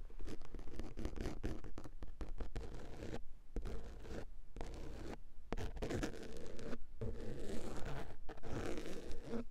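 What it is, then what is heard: Fabric-covered padded car armrest. Long acrylic nails tap and scratch across a padded centre car armrest covered in grey woven fabric. The result is a dense run of quick, dry scratching and muffled taps, heavy in low frequencies, with a few brief pauses between bursts.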